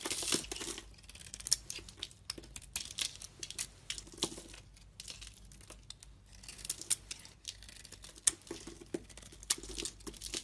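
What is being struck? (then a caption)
Bar of soap shaved with a metal blade. A metal utility-knife blade shaves flakes off the faceted surface of a solid pink bar of soap held in hand. The sound is a quiet, dense run of crisp, bright scraping and crackling, with sharp little ticks scattered through it and brief pauses between strokes.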